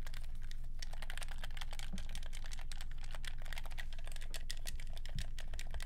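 A black, hollow, hand-sized plastic handheld game controller is held in both hands while fingertips rapidly press and click its buttons. The result is a fast, steady stream of short, sharp clicks like typing on a keyboard, over a constant low hum.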